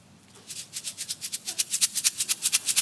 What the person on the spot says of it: 红参丹摇一摇会有这种响声